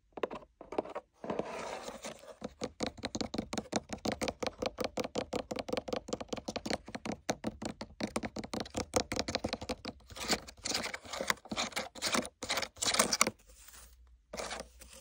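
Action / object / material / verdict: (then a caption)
tap / leather sword sheath / leather / none. Fingertips and nails tap and scratch the body of a hollow black tooled leather sword sheath with gold lines and rivets, then move to its riveted throat section. The result is a quick, steady run of short, dry, crisp clicking taps with no ring. Toward the end come brushier scratching bursts and a brief quiet lull.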